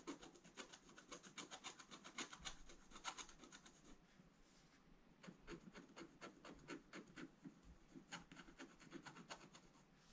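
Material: Coated paper.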